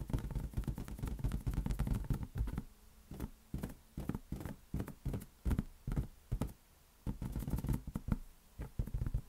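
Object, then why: Inflated latex rubber balloon. A large, hollow, air-filled green latex balloon is tapped with the fingertips of both hands. Quick, dull, boomy thumps dominate the low end, in fast, uneven bursts with short pauses between clusters. Each tap dies away almost instantly.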